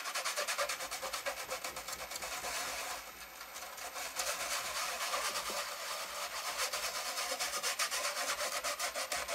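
An orange toothbrush scrubs back and forth over the left speaker grille of a large, hollow, black plastic Panasonic cassette boombox lying on a blue mat, while the other hand steadies the case. The result is a bright, dry, scratchy brushing on plastic in fast, uneven strokes of about three per second, with a brief softer lull near the three-second mark before the scrubbing picks up again.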